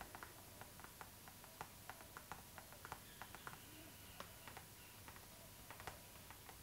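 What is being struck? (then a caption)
Clear PVC plastic zipper pouch. Long acrylic nails tap on a medium, transparent pink PVC plastic zipper pouch that lies flat, hollow and mostly empty. The result is a quiet, irregular run of light, crisp plastic clicks with a bright edge, each short and dry, over a steady low hiss and a faint constant tone.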